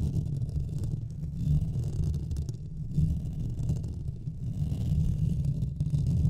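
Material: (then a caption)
Metal mesh. Fingernails quickly scratch both sides of the hollow metal mesh grille on a Blue Yeti microphone. The result is a dense, continuous low rumble with a steady scratchy texture that swells slightly in waves, with almost nothing heard in the higher range.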